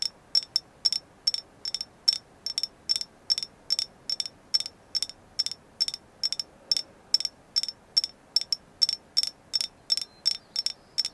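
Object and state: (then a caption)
Carved agate figure. Continued tapping on a carved agate moon goddess figure gives a long series of sharp, bright, clicky taps that ring very briefly with a clear high tone. The taps come steadily, sometimes in quick pairs, over a quiet background.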